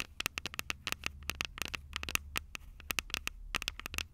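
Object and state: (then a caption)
Metal microphone capsules tapped with fingernails. Long purple nails tap on the small, hollow, silver metal microphone capsules of a Tascam DR-05 recorder. The result is a rapid, uneven series of sharp, bright clicks with a metallic ping near 2.7 kHz that stops almost at once, over a faint low hum.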